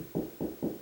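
Three knocks on a drywall ceiling over a wood joist give short, dull thuds centered in the low midrange with almost no ring. The spot sounds solid, confirming it sits over a joist.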